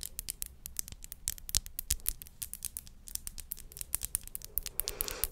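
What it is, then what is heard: Glass perfume bottle tapped and scratched with nails. Long acrylic nails tap and scratch the body of a small clear glass perfume bottle with a pink crown-shaped cap, held in the hand. A rapid, uneven series of short, bright clicks with almost no ring runs throughout, over a faint low hum. Near the end it becomes a denser, hissing scrape.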